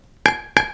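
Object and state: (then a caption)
Portland limestone block with a hidden crack (shake). Two sharp taps on a block of Portland limestone that has a shake, a hidden crack running along a line in the stone that can't be seen. Each tap gives a bright, ringing clink with a pitch near 850 Hz that decays within a fraction of a second, showing the stone is not sound.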